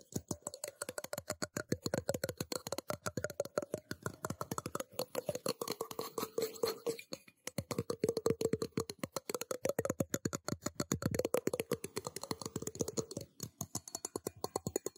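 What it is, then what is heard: Stainless steel cup. A small, hollow, empty stainless steel tumbler cup is held in the hands and tapped rapidly on its sides with fingertips and nails. The result is a dense stream of quick, bright metallic clicks with a short ring around 500 Hz. The tapping pauses briefly at about 7 seconds, then resumes.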